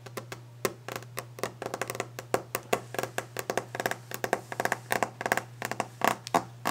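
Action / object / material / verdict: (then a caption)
tap / varnished wooden desk top tapped with fingernails / varnished wood / none. Long fingernails drum very rapidly on a solid varnished wooden desk top, tapping with the nail tips. Each tap is a short, dry click that dies away almost at once, forming an uneven, fast patter over a steady low hum.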